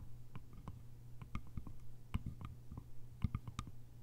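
Long nails tap the top and sides of the lid on a small, cylindrical, hollow bamboo lidded container. About fourteen quiet, dry clicking taps come in an uneven run, each dying away almost at once with a faint bright tick. A steady low hum sits underneath.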